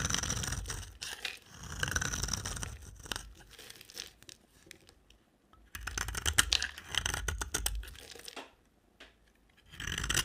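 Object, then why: Bar of soap cut with a blade. A box cutter blade scrapes and carves flakes off the end of a solid, palm-sized, pink rectangular bar of dry soap held in the hand. Bursts of dry, crunchy scraping and crackling shaving sounds, bright and gritty, come in several passes separated by short quiet pauses.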